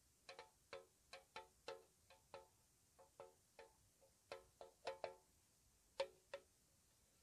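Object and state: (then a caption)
Metal tea tin tapped with fingernails. Long painted nails slowly tap a small, hollow, square white-painted metal tea tin (Mr. Strong English Breakfast), held in the hand with its lid on. A slow, uneven series of soft, light ticks each give a brief hollow metallic ping around 550 Hz, with a bright edge that dies away almost at once.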